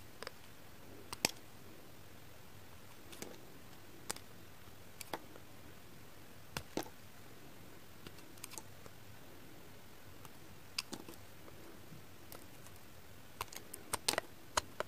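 A pink kitchen knife scrapes thin, crisp flakes off a solid, translucent, heart-shaped pink glycerin soap piece held in the fingers. Short, sharp, bright scraping clicks come scattered and sometimes in quick clusters. They die away almost instantly over a quiet, steady low hiss.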